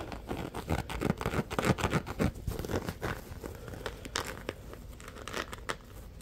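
A palm-sized, soft yellow nylon mesh scrubber sponge with a loop is squeezed, crinkled and scratched with fingertips. It gives a dense run of rapid rustling crinkles and scratchy clicks that is fuller and louder in the first half, then thins out to softer, sparser scratches with a few sharp ticks.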